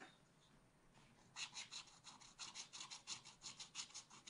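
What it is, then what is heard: Scratch art paper being scratched. A wooden stylus scratches a black-coated scratch art card in a spiral pad with fast back-and-forth strokes. After about a second of near silence, quick, bright, raspy scrapes come in a steady rhythm, each with a high, hissy edge and almost no low end.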